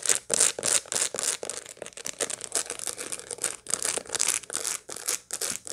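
A dried sunflower head with its seeds still in place is held in both hands and scratched across the seed surface with long light-blue fingernails. Quick, irregular bursts of dry, bright, crackly scratching follow one another at about three per second, each stopping short with no ring.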